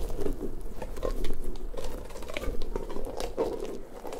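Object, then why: Soft rubber puffer ball. Fingertips rub and scratch a large, hollow, pink soft rubber puffer ball with spiky tendrils. The result is a continuous soft, rubbery pattering and scratching, with dull squeaky rustles and quick light taps that rise and fall without clear gaps.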